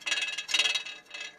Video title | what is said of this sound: Что стучит в передней подвеске. Металлический звук в переднем колесе. Шум при езде 🚙 | реально как ведро с болтами